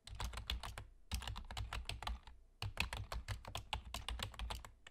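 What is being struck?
Plastic computer keyboard.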